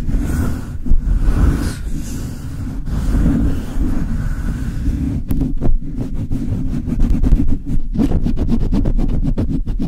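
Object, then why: Metal mesh microphone grille. The bare metal mesh grille of a Blue Yeti mic is rubbed with palms and fingertips and scratched with long nails. The result is a steady, heavy low rumble of friction, with a faint brighter hiss in the first half. Quick, choppy scratching strokes take over in the second half.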